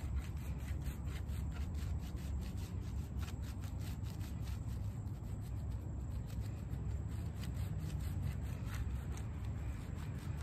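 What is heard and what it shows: Fingertips and palms rub and scrub across the soft pile of a small, wet, sudsy, plush shaggy fabric rug lying flat outdoors, the rug very muddy and dirty. A steady, dense, low rumbling swish of scrubbing runs without a break, with faint brighter scratchy streaks flickering above it as the hands move back and forth.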